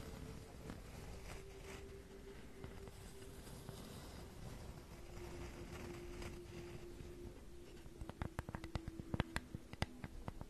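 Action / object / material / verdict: tap / flat wooden cutout shaped like a flower / wood / none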